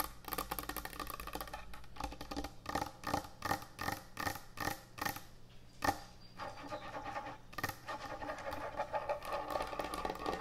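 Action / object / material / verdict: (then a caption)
tap / end-grain hardwood cutting board / hardwood / none. Long nails tap and scratch quickly across the top of a large, thick, solid end-grain hardwood butcher block cutting board. Bursts of dry, woody clicks come at an uneven, rapid pace, with a mid-pitched knock near 800 Hz. Between them runs a bright, raspy scraping texture over a faint low hum.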